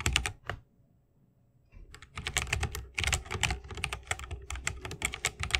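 Both hands type fast with their fingertips on a 60% mechanical keyboard with plastic keycaps on tactile Holy Panda switches, set in a solid bamboo wooden case, RGB lit, and resting on a wrist rest. A few keystrokes are followed by a short pause, then a rapid, dense run of crisp, bright clacks over a deeper low thock. Each keystroke dies away almost instantly.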